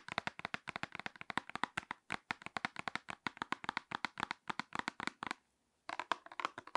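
Long nails tap rapidly on the face of a closed, small printed paperboard hair dye box held in one hand. The result is a fast, steady stream of dry, crisp clicks with a papery knock around 1 kHz and almost no ring. A brief silence comes just after five seconds before the tapping resumes.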